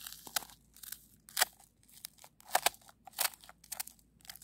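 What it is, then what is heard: Frozen snow crust. Long acrylic nails scratch and rake across a solid, granular icy snow crust on the ground. The result is a run of sharp, dry, bright crunches and crackles, each snapping off almost instantly, with quiet gaps between them.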